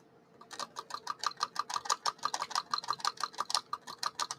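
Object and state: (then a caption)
Hard, fully cured solder mask. UV-cured solder mask on a circuit board is tapped to show it has dried hard, giving 21 quick, sharp clicks at a steady pace of about two per second. Each tap is short and dry, with a clear tone near 1.2 kHz and a bright, high edge. The hard, crisp taps show that the mask has fully cured.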